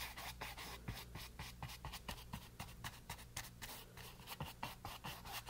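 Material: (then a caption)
Canvas. A flat paint brush scrubs back and forth over the textured surface of a small, solid, flat canvas board covered in green paint, resting on a table. Quick, bright, papery scratching strokes repeat in a steady rhythm over a low, constant hum.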